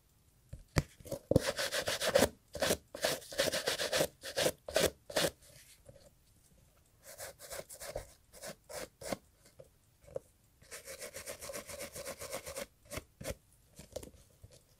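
A small bristle brush held in gloved fingers scrubs a hollow brown leather Italian loafer with cream textile panels resting on a carpet. Brisk, dry, bristly strokes come in quick bursts, with a steady midrange tone and a bright hiss, separated by short pauses.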